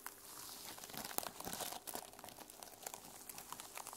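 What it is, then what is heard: Sequin-covered notebook. Long nails scratch and tap the teal plastic sequin cover of a small notebook held up in the hands. The result is a steady, bright, crinkly rustle dotted with quick, sharp clicks that die away instantly.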